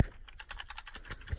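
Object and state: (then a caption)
Camcorder with a loose internal part. A broken Sony HDR6405 camcorder, whose screen no longer displays anything, is shaken, and a loose piece inside produces a quick series of light, dry clicking rattles. The rattle points to an internal problem, possibly caused by drops.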